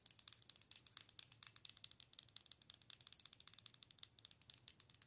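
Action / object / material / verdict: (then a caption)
tap / plastic owl night light / plastic / none. Long nails tap rapidly across the face and sides of a hollow, glowing plastic owl night light, making about 42 quick, bright clicks over five seconds. Each tap is sharp, dry and dies away at once, with a faint low hum beneath the quiet, steady tapping.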